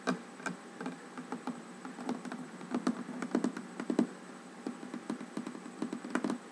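Fingernails and fingertips tap and knock on a large, solid wooden tabletop while the hands move across the surface. The result is a string of many quick, dry taps with a low-mid woody thump and almost no ring, some louder than others, over a steady faint hiss.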